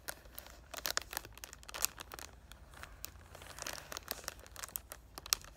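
Both hands rub and crinkle the clear cellophane wrap across the front of a cardboard perfume box with their fingertips and short painted nails. The result is a dense run of bright, crisp crinkles and crackles with sharp, short-lived snaps and very little low end.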